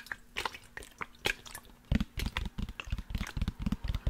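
Fingertips and nails tap and scratch along the side of a large black plastic sports water bottle with a blue cap, hollow and holding liquid. Light, bright clicks and scratches come first. After about two seconds they give way to a rapid run of deeper, hollow thumps with a low tone and a slight liquid slosh, each dying away almost at once.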